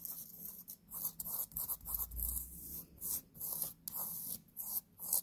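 Long painted nails scratch and rub across a black cotton t-shirt being worn on the chest. The sound is a series of soft, hissy fabric scrapes in bursts, bright in the highs, with brief pauses between strokes and a low rumble underneath.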